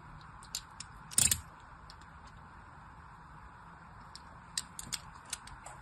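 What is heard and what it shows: A small pointed blade, held in a hand with long white nails, scores thin lines into the surface of a hand-sized solid pink bar of soap held in the other hand. Nine short, bright scraping ticks stand out over a faint hiss, with the loudest, crackly scrape near the start and a quicker cluster toward the end.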